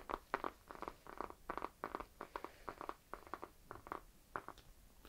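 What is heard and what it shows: Fingernails scratch the peel of a whole, solid, round orange held in the hands. A quiet series of short, dry scratching strokes, centered around 1 kHz, repeats in quick bursts throughout.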